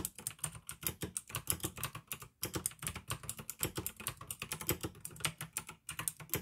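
Fingertips type quickly on a full-size pink and white plastic AUKEY mechanical gaming keyboard with blue tactile switches and RGB backlighting. A dense, steady run of sharp clicky keystrokes blends bright clicks with a low plastic thud, pausing only briefly between bursts.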